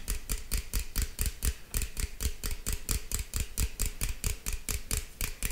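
A green aluminum beverage can, held at an angle, is tapped with fingertips and nails in a quick, uneven run of about two dozen taps. Each tap gives a dull, low thump with a bright, tinny click on top that dies away almost at once.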